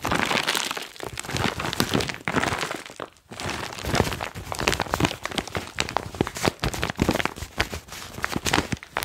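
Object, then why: Foil-lined plastic chalk pouch. Fingertips crinkle and squeeze a foil-lined plastic chalk bag close to the mic. A dense, continuous run of sharp crinkles and crackles spans low to bright high frequencies, pausing briefly about a third of the way through before resuming steadily to the end.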